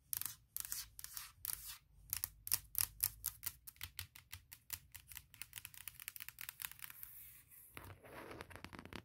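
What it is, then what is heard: Aluminum laptop lid. Long nails tap and scratch across the lid of a closed, large MacBook Pro near its edge, on its hollow aluminum shell. A rapid run of dry, bright clicky taps comes first, then a softer, hissy scratching texture near the end. Each tap dies away almost instantly.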